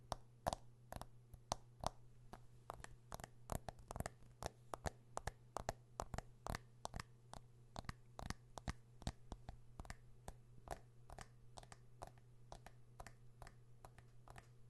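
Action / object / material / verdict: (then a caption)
tap / smartphone with metal and glass body / metal, glass / none. Fingernails tap and scratch a smartphone with a metal and glass body held close to the microphone. Dozens of short, sharp clicks come in an irregular rhythm, with soft scratching between them, over a steady low hum.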